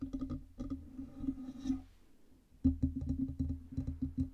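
Long red nails tap quickly on the lower metal body and base of a black Blue Yeti USB microphone and its metal stand. The bursts of short, dry clicks carry a low hollow ring near 266 Hz. A brief quieter lull comes before a sharper, louder run of taps.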